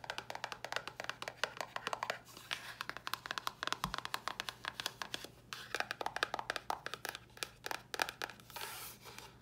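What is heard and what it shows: A small, hollow white cardboard box with a red top, held in the hands, is tapped with long nails. The result is a steady run of many quick, crisp clicks with a bright, papery tone and almost no ring, against a quiet background. Lighter scratchy brushes come in toward the end.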